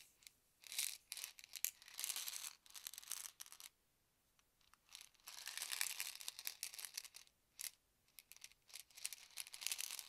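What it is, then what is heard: Plastic pill bottle. Fingertips scratch and tap the label and yellow cap of a small white plastic Advil ibuprofen bottle, partly filled with tablets, while both hands turn it. The result is quiet, bright, crinkly bursts of scratching and clicking, almost entirely high-pitched, with a short silent gap in the middle.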